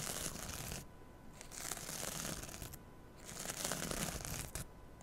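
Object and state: Kitchen sponge with scouring pad, scratched.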